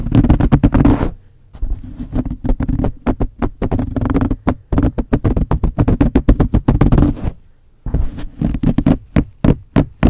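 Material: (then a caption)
Foam. Long blue-painted nails on both hands scratch and tap the top of a soft, porous black foam cover that sits hollow over the capsule of a large metal USB condenser microphone. The result is rapid, dense runs of deep, muffled thumps and fuzzy scratching with very short decay, broken by brief quiet pauses.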